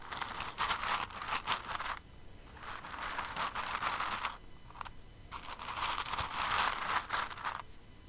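Fingers with long nails dig into and stir an open clear container full of plastic rhinestones. The result is a bright, crunchy rattling and crinkling of many small pieces shifting together, coming in three long bursts separated by short quiet pauses.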